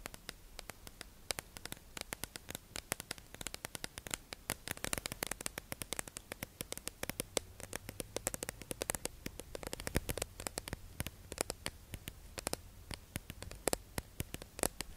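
A hollow, clear plastic tube-shaped package holding makeup sponges is held in the hands and tapped and scratched with long acrylic nails. Dense, rapid clicks and taps crackle over a soft, hissy scratching texture for the whole clip. Each tap is short and bright with almost no ring.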